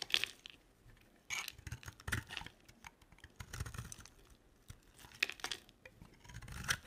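A box-cutter blade scrapes and carves a solid oval white soap bar, lifting off flakes. Dry, crisp, bright scraping strokes come in irregular bursts with brief crackly rasps and soft low bumps between them, fading quickly after each stroke.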